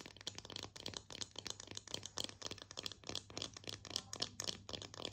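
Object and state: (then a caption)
Bamboo slotted spatula. A slotted bamboo spatula of solid wood is held in both hands and tapped and scratched with long painted nails. Quick, irregular, dry clicking taps and scratchy strokes sound bright and crisp with no ring, over a faint steady low hum. The level stays quiet throughout.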